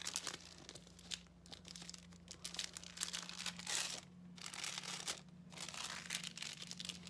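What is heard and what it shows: A thin white paper sheet, rolled into a strip, is pulled between the fingertips of both hands, crinkling and rubbing the paper. A quiet, continuous run of bright, dry crackles and rustles comes with brief louder bursts. Beneath it sits a faint steady low hum.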